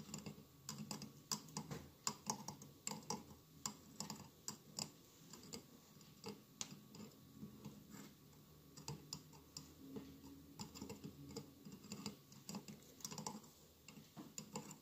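Fingertips and nails tap steadily on the sides of a hollow glass mosaic votive candle holder with a lit candle inside. The result is a quick series of short, bright, clicky ticks that die away almost instantly, over a soft, low background murmur.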